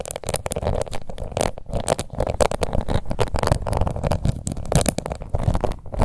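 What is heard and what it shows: Long nails scratch rapidly across the embossed lid of a small, round, pink plastic face powder compact. The result is a dense, continuous run of short, crackly scraping strokes, heavy in low rumble with little high-end brightness.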